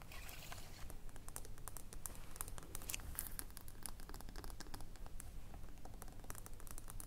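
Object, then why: Small glass jar of cream with a metal lid. Long blue nails tap the metal lid of a small glass body lotion jar filled with cream, then tap the base of the jar as it lies on its side. Quick, light, bright clicks land in a loose, uneven patter over a steady low rumble, each tap dying away almost instantly.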